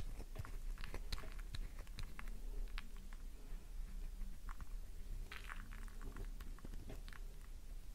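A solid pink flower-shaped bar of soap, held in both hands, is scraped and gouged by thumbs and long nails, leaving shavings piled below. Dense, crisp scratching and crunchy clicks come in quick irregular bursts with bright edges over a steady low rumble.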